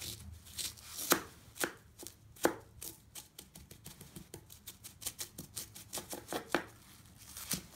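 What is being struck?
Crumbled floral foam chunks cut with a serrated knife.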